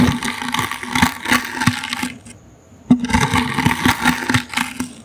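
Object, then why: Small woven wicker basket. The bristles of a toothbrush scratch a small, hollow, brown woven wicker basket held in the hand, making dense, bright, crackly rasping with a faint hollow low hum beneath. Two bursts of scratching are split by a brief near-silent pause before a sharp tick restarts the brushing.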